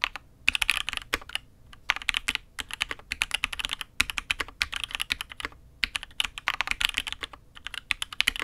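A custom Matrix 8xv 2.0 mechanical keyboard with INK Black switches, an aluminium case and red and grey ABS keycaps is typed on with the fingertips of both hands. It produces a steady, rapid stream of bright, crisp clacks centred around 2.5 kHz, with very little low end. Each keystroke cuts off almost instantly with no ring.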